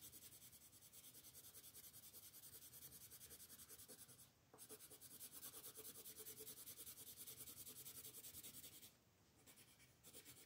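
A green colored pencil rubs over the grass area of a paper coloring book page lying flat, making steady shading strokes. The soft, bright scratching repeats at a quick rhythm. It pauses briefly twice before resuming.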